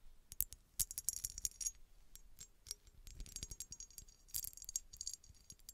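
A small, hollow, empty-looking red embossed glass bottle with a textured surface is rapidly tapped with long red nails. The result is a quiet, uneven flurry of sharp, bright clicks with a rattling, jingly quality. Each tap dies away almost instantly with no ring.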